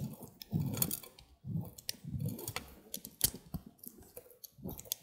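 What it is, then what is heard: Bar of soap being carved. A small, solid white handheld bar of soap is carved with a green-handled utility knife, the blade scraping and slicing through the soft soap. Quiet, muffled low scraping swells alternate with sharp, bright clicks and crisp snaps as the blade cuts in.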